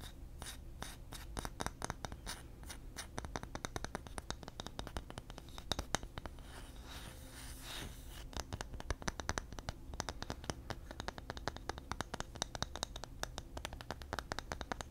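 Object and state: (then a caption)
Engraved bamboo disc. Fingertips and nails scratch the flat face of a palm-sized, solid round bamboo disc with engraved text, held up in one hand beside the microphone. The result is a dense stream of quick, dry, crisp scratches with sharp bright clicks over a steady low hum, easing into a softer, smoother rubbing stretch around the middle before the brisk scratching returns.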